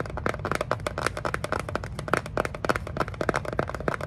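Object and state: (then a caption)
Cardboard box tapped and scratched with nails. A small, plain brown cardboard box, hollow and closed, is held in the hands and tapped and scratched with long acrylic nails. The result is a rapid, continuous run of short, dry clicks and taps with brief scratchy rasps between them, each dying away almost instantly.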